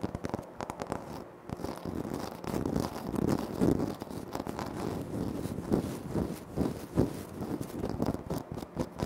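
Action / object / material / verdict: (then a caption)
scrape / granite floor tile / granite / none. Fingertips tap and short nails scratch across a flat, solid, speckled granite floor tile. The result is a dense, continuous run of soft, dull taps and crisp scraping, mostly low and mid in tone with little brightness, each tap dying away almost at once.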